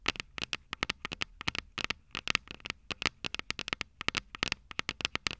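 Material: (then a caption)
Metal. Long purple nails tap the small, hollow, silver metal microphone capsules of a Tascam DR-05 recorder in quick, irregular bursts of about 35 sharp clicks. Each tap is bright and dry with a faint metallic ping near 2.7 kHz and almost no ring, over a quiet background.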